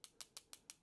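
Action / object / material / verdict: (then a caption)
tap / metal watch case part tapped with a metal pen tip / metal / none. The metal tip of a mini bolt-action pen taps six times on the metal case part of a G-Shock GM2100YM-8A watch. Each tap is a quick, bright, high-pitched tick that stops almost at once, with no low end. The sharp ring identifies the part as metal.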